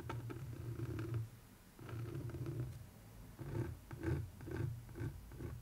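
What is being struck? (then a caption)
Framed canvas art print scraped with a wooden stick. A wooden stick scratches and traces along a framed canvas art print, close up. Long, low, rumbling scraping strokes give way to shorter, choppier rubbing bursts, all muffled and dark with almost no bright content.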